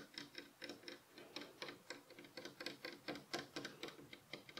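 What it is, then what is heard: Wooden bed headboard rail tapped with fingernails. Several fingernails tap rapidly on the solid, light wooden rail of a bed headboard, while the pillow beside it is left untouched. About two dozen short, dry, clicky taps come in an uneven, quick pattern, each dying away almost at once.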